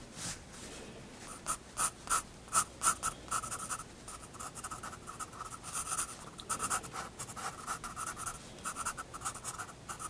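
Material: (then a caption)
Paper. A pencil draws short strokes on a paper sketchbook page, making a quiet, uneven series of dry scratches. Each stroke has a bright, raspy edge with a tone near 1.3 kHz and stops almost at once.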